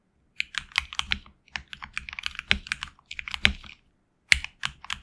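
A HyperX Alloy Origins Core tenkeyless mechanical keyboard with HX Red switches and grey and red PBT keycaps, resting on a deskmat, is typed on with the fingertips of both hands. Bursts of quick, bright, dry key clacks centered around 2 kHz come in uneven runs, with short pauses between them and a faint low thock beneath. Each keystroke dies away almost instantly.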